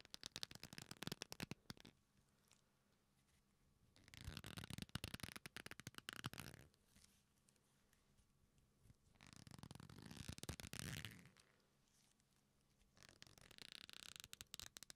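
A black leather belt, a flat solid strap, is bent and rubbed in both hands close to the microphones, creaking. It comes in four bursts of dense crackly creaks with quiet pauses between them. The sound spans deep low rubbing to bright, crisp high crackle.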